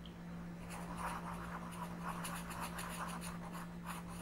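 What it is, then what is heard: Colored pencil on paper coloring page. A pink colored pencil is rubbed slowly across a flat paper coloring book page while coloring. Soft, papery scratching strokes repeat in an uneven rhythm, rising and fading over a steady low hum.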